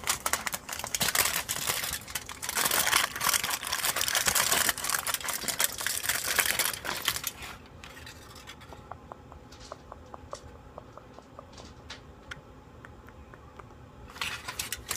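A thin, crumpled aluminium foil sheet is held in the hand close to the microphone while fingertips crinkle and rub it. Dense, bright crackling with a tearing-like edge fills the first half. It then thins to a quiet stretch of sparse, sharp ticks, and the crinkling swells again at the very end.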